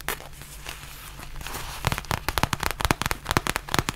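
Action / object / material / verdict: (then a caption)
tap / faux leather zip pouch / faux leather / none. Long nails tap and scratch a black textured faux leather zip pouch held close. Soft, crackly scratching for the first couple of seconds gives way to a quick run of sharp, dry, bright taps with almost no ring.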